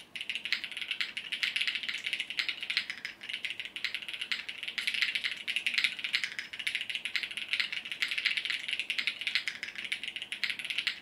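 Fingertips of both hands type continuously on a compact mechanical keyboard with multicolored plastic keycaps. The result is a steady, dense clatter of short, bright clicks with almost no low end. Each keystroke dies away almost instantly.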